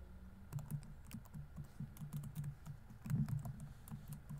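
Fingertips rapidly tap the plastic keys of a laptop keyboard on a grey laptop body, producing quiet, uneven clicks and soft low thuds. There is a brief denser burst near the end.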